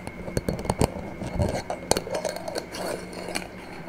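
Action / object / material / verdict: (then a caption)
tap / small glass jar with metal screw lid / glass, metal / none. Long nails tap the glass sides and silver metal screw lid of a small, empty-looking clear glass jar held in the hands. The result is a quick series of short, dry clicks and light clinks, each one cutting off almost at once, with a faint steady tone beneath.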